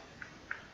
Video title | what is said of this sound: Wismec Reuleaux | there is a tiny bit if you physically push the the door up and down with your fingers but I'm not getting any side to side